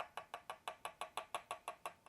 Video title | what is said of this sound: Experiencing Guitar Fret Buzz? How to Evaluate, Diagnose & Fix Common Fret Issues | the Fret sounds very solidly